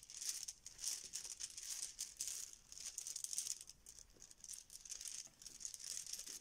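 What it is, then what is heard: Fabric pouch of plastic tiles shaken. A yellow fabric Bananagrams zip pouch full of plastic letter tiles is squeezed and shaken in both hands. The tiles give a quiet, continuous high, bright rattle that swells and fades in uneven bursts, with almost no low end.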